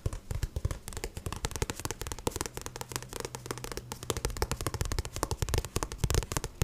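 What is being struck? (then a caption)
Paperback book with card cover. Fingertips tap rapidly on the back of a paperback book with a glossy card cover while it is held up. The taps are soft, dull and thumpy, mostly low in tone with a short, dry decay, coming in a quick, uneven patter throughout.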